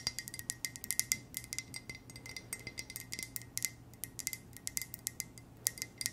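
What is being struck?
Ceramic coffee mug.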